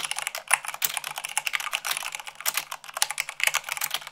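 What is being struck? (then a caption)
Plastic mechanical keyboard. Fingertips and long nails type rapidly, at about 98 words per minute, on the keycaps of a white plastic mechanical keyboard. The result is a dense, steady stream of bright, crisp clicks and clacks with almost no low end, and each keystroke dies away almost instantly.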